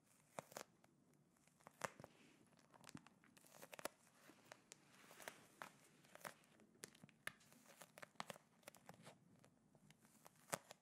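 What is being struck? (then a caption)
Plastic pouch of gel beads. A small clear plastic gel ice pack filled with blue gel beads is held close to the mic and squeezed and scratched with fingertips and nails. The result is quiet, steady crinkling and crunching, broken by many sharp, bright crackles and clicks that die away at once.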